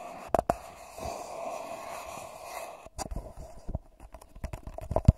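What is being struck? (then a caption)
Gold-foil paper cup. A hollow, empty gold-foil paper cup held over a microphone is tapped and scratched rapidly on its curved sides with fingertips and short nails. A couple of sharp taps open the clip, followed by a soft, steady scratching rustle, then a quick, uneven run of dull, low, muffled taps and scrapes.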